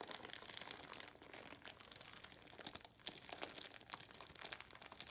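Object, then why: Loofah sponge in plastic wrap. A hand-sized, light, porous, rectangular natural loofah sponge sealed in clear plastic wrap with a paper label is held wet over a soapy sink and squeezed and scratched by hands with long metallic-painted nails. The plastic gives a steady, bright crinkling and crackling with rapid, dense crunchy clicks and almost no low end, possibly with faint wet, liquid sounds underneath.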